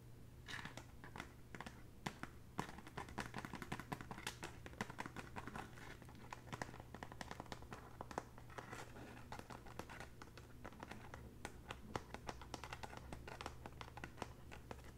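Long bare natural nails lightly tap and scratch the braided straw strips on the side of a hollow red woven straw handbag. A quiet, continuous stream of soft, dry clicks and crinkly scratching rustles, each tap dying out instantly, plays over a steady low hum.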